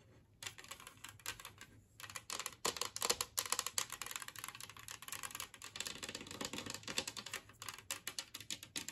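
Long nails tap and scratch across the glazed surface and rim of a large, flat, empty green ceramic Christmas-tree-shaped plate resting on a wooden table. After a brief quiet start, a steady stream of quick, crisp clicks and scrapes follows, bright and dry with almost no ring.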